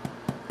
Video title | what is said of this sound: another no knead bread video | we'll listen for a hollow sound it's already sounding pretty good so won't be much longer